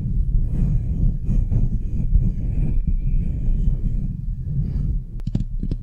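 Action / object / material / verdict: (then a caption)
scrape / metal mesh microphone grille / metal mesh / none. Long glittery nails quickly scratch the rounded, hollow metal mesh grille of a microphone head. The result is a dense, continuous, low rumbling scrape, with a few sharp bright clicks near the end.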